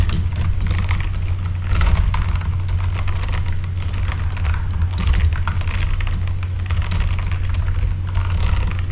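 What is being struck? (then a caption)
Mechanical keyboard with plastic keycaps. A full-size RGB backlit mechanical keyboard with plastic keycaps is typed on continuously with the fingertips of both hands. Quick, dense clicks and clacks rattle over a steady deep low hum, with brief bright key edges that fade almost instantly.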